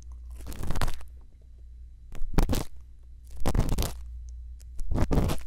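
A thin bamboo earpick, held in fingertips with long lilac nails, scratches and scrapes inside the ear canal and concha of a solid, soft white silicone ear model mounted on a round binaural microphone housing. Four separate bursts of close, crunchy scraping rise over a steady low rumble. Quieter rustling fills the gaps between them.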